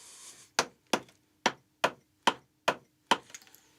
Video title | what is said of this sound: Climbing Great Buildings - 6. Burghley House (BBC) | it becomes Hollow doesn't it starts to ring